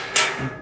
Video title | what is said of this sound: 40 Years GSA Service!! • An Issue with 2013 GS..! - TheSmoaks Vlog_3249 | So I go along, ding, ding, ding, ding, ding, ding, ding. Look for them to go thump.